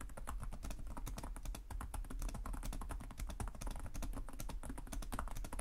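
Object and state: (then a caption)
Plastic laptop keyboard. Both hands type rapidly with their fingertips on the plastic chiclet keys of a black laptop resting on a desk. The result is a dense, continuous stream of quick, crisp clicks and taps over a steady low hum.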